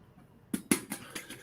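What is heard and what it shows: The topper of a coffee percolator pot is tapped five times, giving short, dull clicks that die away almost at once, with a low hollow tone around 270 Hz and no glassy ring. The taps show the topper is plastic, not glass.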